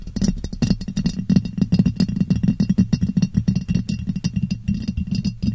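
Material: Glass.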